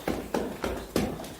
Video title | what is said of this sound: VR360 Western Heights Fort DOVER With Ian from IKS Exploration | it sounds hollow. Doesn't it? It's concrete, isn't it?